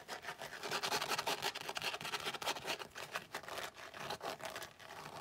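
Long nails rub and scratch across a flat, tan, floral-embossed tooled leather zip-around wallet. The result is a steady run of quick, dry, bright scratching strokes with a papery rasp and almost no low end.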